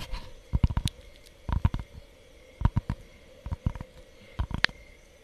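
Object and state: Cork board sheet.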